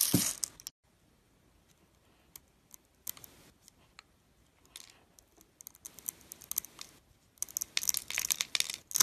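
A metal blade cuts and scrapes small cubes off a hand-held, solid, translucent green glycerin bar soap that has been scored in a grid. The result is crisp, bright scraping and crunching with short clicks, separated by quiet pauses. The sounds grow denser and louder toward the end.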